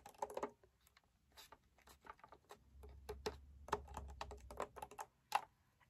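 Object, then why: Plastic toy cash register. Long nails tap on the back of the raised screen panel of a hollow pink plastic toy cash register. They make a rapid, irregular run of light, dry clicks with a hollow mid-range tone and a bright tick, each one dying away almost at once. A faint low rumble sits under the middle of the tapping.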